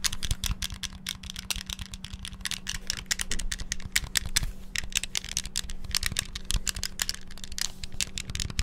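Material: Plastic.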